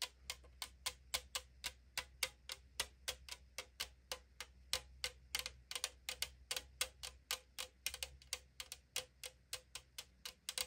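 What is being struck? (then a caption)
Aluminum drink can. Long decorated nails tap rapidly on the side of a hollow 500 ml AriZona green tea aluminum can. About 43 short, sharp, bright clicks with a tinny ring near 2.2 kHz fall in a quick, steady rhythm. Each one dies away almost at once over a faint low hum.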